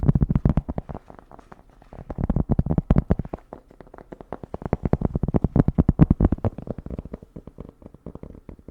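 Rapid fingertip-style tapping on cork makes a dense run of short, dull, low-pitched taps with almost no ring. The tapping comes in louder bursts separated by quieter stretches and fades somewhat toward the end.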